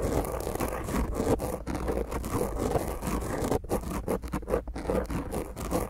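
Long grey nails on both hands scratch the top of a black dome-shaped foam microphone windscreen in quick strokes. The result is a continuous, rough, muffled scraping, heavy in the low and mid range with little brightness and a steady low rumble underneath.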